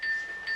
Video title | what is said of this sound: SOKO GA SHIRITAI - (Kuroshio Train Journey) Part 2 of 4 - KINGSPLIFF.mp4 | トントン落としてたのはこの音ですか。はい。あらららららら、あら、いい音。すごい。